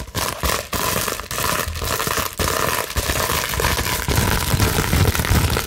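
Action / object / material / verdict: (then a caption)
scrape / plastic bubble wrap sheet / plastic / none. A large clear plastic bubble wrap sheet is scratched and scrunched quickly with long nails. The result is a dense, continuous crinkling and scraping noise, bright and hissy across the range with a rumbly low end. It is broken only by a few brief drops in level.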